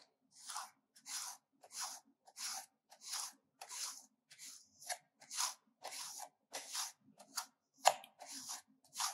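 A solid pink bar of soap is grated on a metal hand grater in a steady series of separate scraping strokes, each a bright, dry rasping crunch with no low end. A heap of soap shavings builds up in the grater as the strokes continue.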